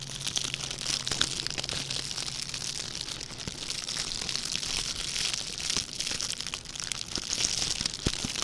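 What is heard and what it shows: A small red metallic plastic ribbon gift bow is held in both hands while its loops are crinkled and crushed with the fingertips. The result is a dense, continuous, bright crackling crinkle with sharp snaps scattered throughout and little low end, over a faint low hum in the first few seconds.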